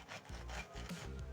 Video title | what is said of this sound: Grilled Sandwich Recipe - Grilled Cheese Sandwich Recipe - Homemade Sandwich Recipe - Infoods | You can hear how crispy the outside is.